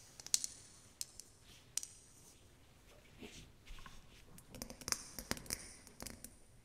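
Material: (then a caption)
Glass. Long acrylic nails tap a small round clear glass snow globe, filled with water and holding an angel figurine on a white base, while it is held in both hands. Sharp, bright clicks come in scattered bursts, mostly high-pitched, with a faint soft swish between taps.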